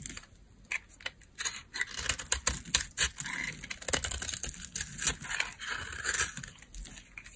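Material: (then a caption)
Soap. A solid, stamped beige bar of dry laundry soap is held in hand while its edge is shaved and scraped with a metal blade, crumbling into flakes. Rapid, irregular, dry scratching and crackling bursts sound bright and crisp, with little low end and very short decay.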